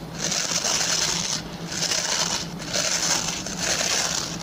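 Fingertips and short nails scratch and rub the stubby plastic pin bristles of a hand-sized oval white plastic brush. Repeated strokes make a dense, bright, hissing rasp that swells and eases with brief lulls between passes, over a faint steady low hum.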